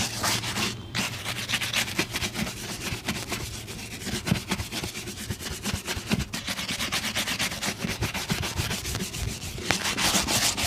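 A brown leather boot is brushed quickly with a bristle shoe brush, giving a steady run of rapid, dry, scratchy strokes. Each swipe is bright and hissy with a soft low thump underneath, and the brushing continues without pause throughout.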